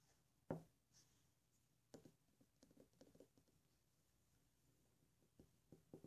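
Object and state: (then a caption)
Glass ink bottle. A thick glass Iroshizuku ink bottle in the chiku-rin shade, about 50 ml, filled with ink and closed with a black cap, is held and tapped with fingertips and nails. One sharp tap stands out early, followed by a scattered run of softer, dull, low-pitched taps and clicks that stop almost at once with very little ring. Quiet stretches fall between the taps.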